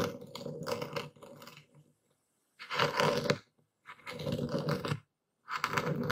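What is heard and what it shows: A dark stone pestle is plunged and twisted into a wooden bowl full of coarse white epsom salt, crushing the crystals while a hand grips the bowl. Four bursts of dense, gritty crunching and grinding come with short silences between them, each with a low, steady rumble under the bright crackle.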